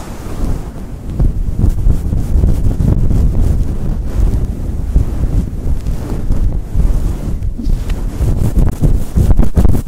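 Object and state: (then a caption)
Faux fur microphone windscreen being rubbed. Palms and fingertips rub and squeeze a fluffy synthetic fur windscreen fitted on a Blue Yeti microphone. The result is a continuous deep, muffled rumbling and buffeting, almost all low-end, much like wind blowing across a mic. Soft, brushy pulses repeat throughout.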